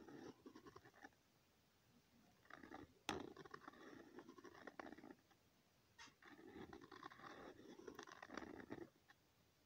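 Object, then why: Pen tip on a lined paper sheet. A pen tip scratches looping circles onto a thin, flat sheet of lined notebook paper, making soft, dry, midrange scraping in three runs separated by short quiet pauses. A sharp tick is heard near the start of the second run, and the drawing ends in near silence.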